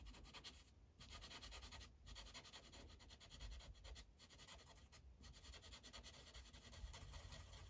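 The felt tip of a blue Sharpie marker rubs across a thin paper coloring page resting on a clipboard in steady coloring strokes. The result is a continuous bright, scratchy hiss over a low rumble, broken by brief pauses as the marker lifts between strokes.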